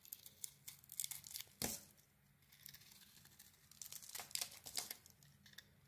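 A solid pink soap bar with an orange glitter coating, held in hand, is carved with a utility blade, shaving and scraping off slivers. Quiet, bright, crisp scraping and crackling strokes come in irregular bursts, with one sharper, louder cut around the middle and a quieter stretch before the scraping picks up again.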